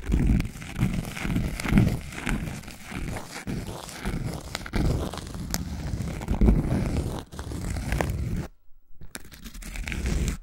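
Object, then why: Thin cork coaster. A thin, round cork coaster held by its edge is scratched and tapped with long nails. The result is a soft, dry, irregular scratching and crackling with quick, dull taps, weighted toward the low end with only faint bright edges. A brief silence falls near the end before the scratching resumes.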